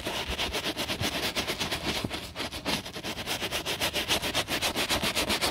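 A bristle brush scrubs the foamy side of a black quilted leather handbag, making a steady run of quick, bright, scratchy strokes. The rhythmic swishing repeats evenly throughout.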